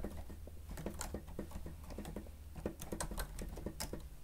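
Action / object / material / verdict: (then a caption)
tap / plastic stenotype machine keys / plastic / none. The keys of a grey plastic stenotype machine with a screen are pressed rapidly with the fingertips and nails of both hands while typing. The result is a quick, steady patter of soft, short plastic clicks with a low, muffled body and occasional brighter nail ticks.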